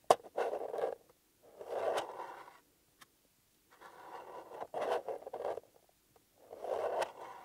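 Fingertips and short nails scratch and tap the top of a small, flat, closed, hollow blue paper-covered EMTEC cardboard box held in one hand. Several bursts of dry, midrange scratching are separated by short silences, with a few sharp, quick taps that die away at once.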